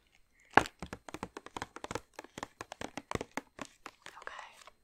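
Long nails tap and scratch a large glossy plastic bag filled with chocolates, close up. A quick series of sharp, crinkly plastic clicks follows a loud first tap. A softer, scratchy rustle over the bag ends the clip.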